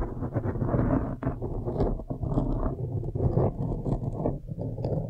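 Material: Foam.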